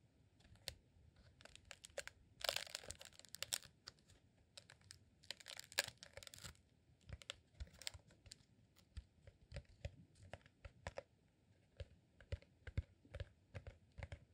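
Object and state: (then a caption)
Rolled beeswax candle. A rolled beeswax sheet candle, made from a green honeycomb beeswax sheet rolled into a hollow tube, is tapped and scratched with fingertips and nails. Dozens of short, dry, clicky taps are broken by two bursts of bright, crinkly scratching. The taps are quiet and die away almost instantly.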